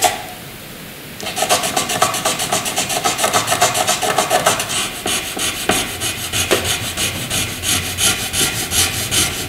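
A black wooden graphite pencil shades a dark patch on white paper with rubbing and scratching strokes. After about a second of near silence, quick, uneven back-and-forth strokes start and continue steadily, giving a bright, dry scratching texture with little low end.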